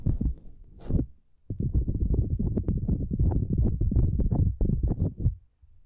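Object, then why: Silicone lattice mat. Long nails tap on a small, flat purple silicone lattice mat, then both hands scratch across the grid. A few soft, muffled taps and a brief bright rustle give way, after a short pause, to a dense run of low, thumpy scratching that ends abruptly, with a faint low rumble after it.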